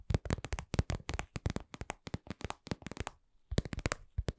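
A lip-shaped red patent vinyl cosmetic pouch, soft and hollow and held in both hands, is tapped and scratched with long acrylic nails. The result is a fast run of short, dry, low-heavy taps with a brief pause near the end before the tapping resumes.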